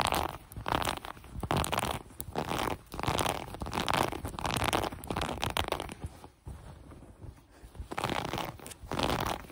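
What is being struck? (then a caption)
Ribbed cotton elastic waistband. Long brown acrylic nails scratch the ribbed elastic waistband of light gray cotton sweatpants lying on a table. Rough, textured scratching comes in uneven bursts of strokes centered in the midrange, with brief quieter pauses between passes.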